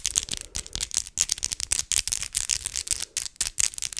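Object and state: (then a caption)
Acrylic fake nails tapped together. Long acrylic fake nails, done up as Christmas nails, have their tips tapped together rapidly close to a microphone. Each tap is a quick, dry, bright click with almost no low end and no ring, and about eighteen taps run together in a fast, slightly uneven patter.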